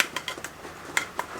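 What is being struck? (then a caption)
Plastic waist-level camera viewfinder. A small, mostly plastic waist-level camera viewfinder is tapped five times, giving light, short, high-pitched clicks that die away almost at once. The taps sound like plastic, and the viewfinder is very light, perhaps around 100 grams.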